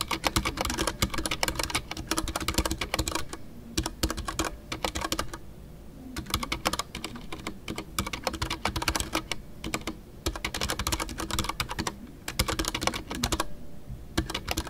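Fingertips type continuously on a full-size Ducky One 2 mechanical keyboard with a white case, MX Brown switches, and custom artisanal PBT plastic keycaps. Dense, bright clacks come in rapid runs, broken by brief pauses. Each keystroke is short and dry with a low thock underneath.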